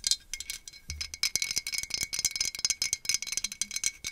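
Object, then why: Small glazed ceramic pumpkin. A small hollow glazed orange ceramic jack-o'-lantern pumpkin with a cut-out face is held close and tapped with long acrylic nails. It gives a rapid run of bright, clicky, high-pitched taps that die away almost instantly. The result is a dry, rattling, chime-like patter.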